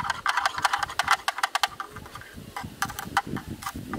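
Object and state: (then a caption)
Plastic lens hood tapped with a stick. A black, rectangular, hollow plastic camera lens hood, held facing the camera, is tapped across its front with a thin bamboo stick. The result is a quick, uneven run of short, dry, hollow clicks with a bright plastic edge, each dying away almost instantly.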